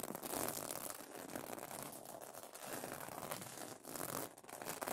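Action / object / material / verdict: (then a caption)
scrape / plastic sequin fabric pillow cover / plastic sequins / none. Fingernails scratch across the plastic sequins of a sequin fabric pillow cover, giving a continuous dry crinkling, rasping texture that is bright and papery with little low end. The scratching swells and dips in short strokes, with brief pauses, throughout the clip.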